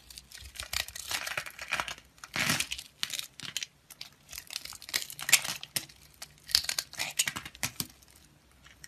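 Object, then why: Bar of soap scraped with a knife blade. A utility knife with a green handle shaves and scrapes a solid white rectangular bar of soap held in the hand, curling off thin flakes. A run of short, dry, crinkly scraping strokes, bright and hissy with almost no low end, comes in uneven bursts separated by brief pauses.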